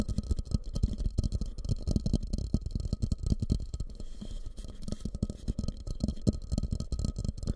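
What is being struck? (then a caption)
Glazed ceramic bowl. Fingertips rapidly tap and scratch on a medium fluted, glossy orange bowl, likely glazed ceramic, turned upside down over the microphone, hollow and empty. The result is a dense, uneven patter of dull, short low thumps with almost no ring, mixed with soft scratchy rustling.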